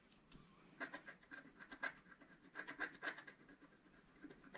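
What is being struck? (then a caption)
Wax-coated scratch-art paper scraped with a wooden stylus. A wooden stylus scrubs the coating off a planet area on a flat black-coated scratch-art paper sheet resting on a table, working in small circular strokes. Quiet, dry scratching and rubbing bursts come in quick, uneven pulses, each with a papery grit centered around 1.6 kHz and no ring after.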